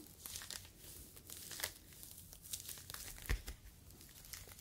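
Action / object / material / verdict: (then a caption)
scrape / foam mesh fruit net / polyethylene foam / none. A yellow foam fruit protective net, a mesh sleeve, is stretched and squeezed between fingers. It gives quiet, dense crinkling and crackling with bright, scratchy edges, and sharper crackles stand out around the middle and near the end.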